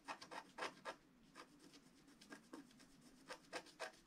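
A wooden stylus held in the fingers scratches the black coating off a flat scratch-art paper page lying on a cloth, in short strokes. Quiet, dry, raspy scrapes come in irregular bursts with bright, hissy edges and almost no low end. Each stroke stops quickly with no ring.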